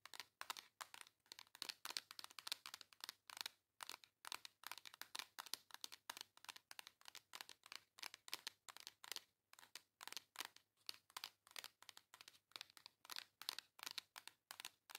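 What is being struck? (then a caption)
Embossed cardboard palette tapped and scratched with long nails. Long acrylic nails rapidly tap and scratch the textured cover of a flat pink embossed cardboard makeup palette. The result is a steady stream of quick, dry, bright taps and scratchy crinkles with no ring, all high in pitch and with no low end.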